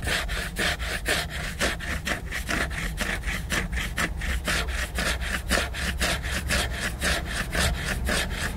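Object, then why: Laminated hardcover book cover. Fingers and nails scratch and rub back and forth across the glossy laminated cover of a solid hardcover book. The result is a steady series of dry, bright, scratchy strokes, roughly two per second, each with a short hissing swell over a low rumble.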